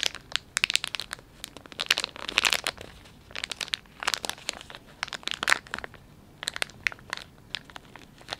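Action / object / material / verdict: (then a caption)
scrape / soft plastic film wet wipes pouch / plastic film / none. A hand-length Dettol wet wipes pouch of flexible plastic film, soft and filled with wipes, is held in both hands, squeezed and crinkled with the fingertips while a fingertip runs along its resealable flap. Bursts of bright, crackly crinkling come in uneven clusters with short quiet gaps, dry with almost no low end and no ring after each crackle.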